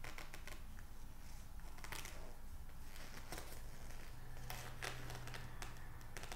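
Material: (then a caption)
Paper. Fingertips rub and squeeze the thin, glossy printed pages of an open psychology magazine held in both hands, with pages being turned. Soft, crisp paper rustles and brief bright crinkles sound over a steady low hum.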